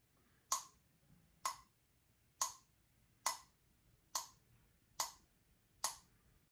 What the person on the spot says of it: hit it with a spoon to hear the difference of the sound in terms of pitch with our ears. We realized that hitting bottom works better